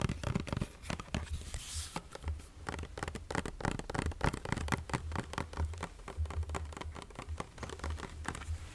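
Fingernails rapidly tap and scratch the body and label of a medium plastic lotion bottle with a yellow cap, partly full. The result is a dense run of short, dry clicks and crinkly scrapes over a soft, low, hollow thud.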